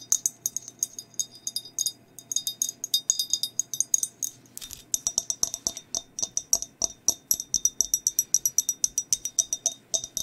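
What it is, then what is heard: Glazed ceramic mug, empty. Long nails tap and scratch a hollow, empty glazed ceramic skeleton mug held close to the mic. Bright, dry clicks and scratchy clinks fill the first half, then give way to a steady, rapid run of sharp, high taps that die away almost instantly.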